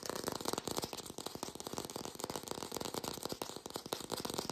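A hand-sized artificial green apple with a stem, likely hollow plastic or foam, is held close to the mic and rapidly tapped and scratched with long pink acrylic nails. About twenty quick, dry, clicky taps come in a steady flurry, each with a hollow midrange knock centered near 490 Hz. A bright scratchy rustle runs beneath them, and each tap dies away almost instantly.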